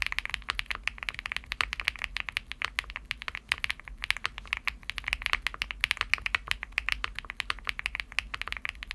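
Fingertips type steadily on a Shortcut Studio Bridge75, a 75% mechanical keyboard with a cream aluminum case and dark purple PBT plastic keycaps. It produces a fast, continuous stream of short, crisp clacks centered around 2.4 kHz with bright upper edges. Each keystroke stops almost instantly, with very little low end and no lingering ring.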